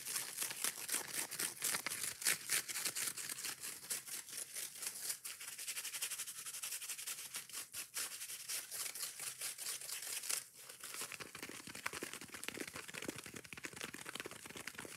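Long painted nails rapidly scratch and tap a small, soft, porous yellow foam kitchen sponge with a green abrasive scouring layer, held in the hand. The result is a dense, continuous, bright crackling hiss broken by quick, irregular taps, with a short dip in loudness just past the ten-second mark before the fast scratching resumes.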